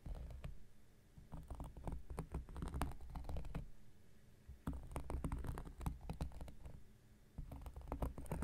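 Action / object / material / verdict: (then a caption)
scrape / cork coaster scratched with a knife tip / cork / none. Rapid scratching and picking with the tip of an X-Acto knife blade on a round, flat, solid cork coaster. Quick, dry ticks and scrapes come in busy bursts separated by brief quieter pauses, with a soft, low-heavy tone.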